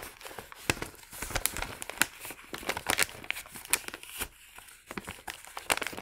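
Fingertips fold, press and crinkle the top edge of a small, empty, thin and hollow brown kraft paper bag lying on a wooden table. The result is a run of crisp, bright crinkles and sharp crackling snaps over a soft papery rustle, with little low end and each crack dying away almost instantly.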